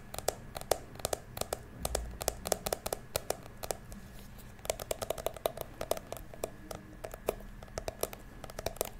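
Fingertips and long nails tap and scratch the ridged surface of a small, hollow, blue glitter plastic toy purse. About forty quick, dry clicks sound with a hollow tone near 620 Hz and bright edges. Each dies away almost instantly over a faint, steady background hiss.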